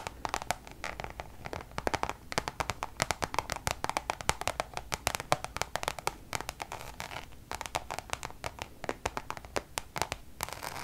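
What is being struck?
Coated canvas pouch.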